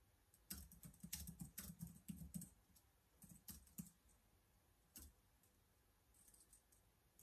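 Fingertips type on the keys of a black plastic laptop keyboard. Quick, uneven bursts of soft clicks, each with a low thud and a bright tick, come in two clusters with short pauses between them. A single louder keystroke follows after a gap, and a few faint taps trail off at the end.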